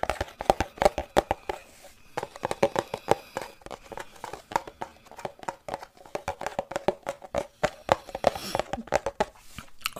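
Fingertips tap rapidly on the flat front of a small green squeezable plastic cosmetic tube held upright. The taps are short, dry and hollow-sounding, with a tone around 780 Hz. They come in quick, uneven bursts separated by brief pauses.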